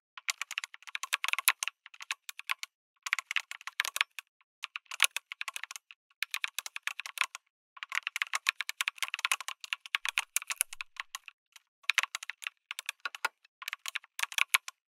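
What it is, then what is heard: Mechanical keyboard with plastic keycaps. Fingertips type on a backlit mechanical keyboard with a white case and red and grey plastic keycaps. Rapid bursts of crisp, bright clacks come in runs separated by short pauses. Each keystroke is sharp and dies away almost instantly, with no low-end thud.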